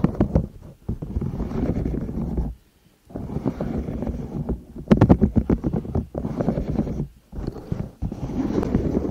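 A yellow and pastel silicone pop-it pencil case with a zipper, hollow and held over the microphones, is scratched and tapped on its bubbles with long nails. The clip is a dense run of low, muffled rubbing and quick soft taps in bursts, broken by short silences. Around the middle, a cluster of sharper, brighter taps stands out.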